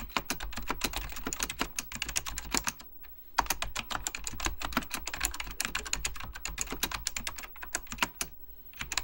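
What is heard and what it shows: Fingertips type continuously on a beige plastic full-size Apple Extended Keyboard II, its hollow plastic keycaps sitting over mechanical switches. Rapid, bright clicky keystrokes come in dense bursts, with brief pauses near 3 and 8 seconds, over a faint low hum.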